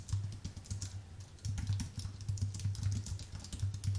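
Fingertips of both hands type fast on a full-size white Apple Magic Keyboard with an aluminium base and white plastic keys. A rapid, continuous run of short, soft key clicks carries a strong low thump under brief bright ticks, with quieter stretches between bursts.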